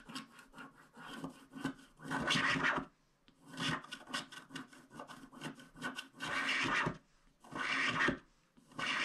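A wooden stick scrapes the black wax coating off the middle area of a small, flat paper scratch art card. The result is bursts of dry, raspy scratching with a bright, gritty edge, separated by brief quiet pauses.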